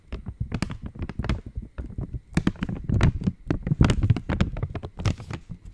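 An opened purple Cadbury Dairy Milk wrapper, made of thin foil-lined plastic, is tapped and scratched with long nails. The result is a quick, irregular run of soft crinkly taps and scrapes, each with a dull low thump and a brief bright crackle. The sound builds denser and louder in the middle before easing off.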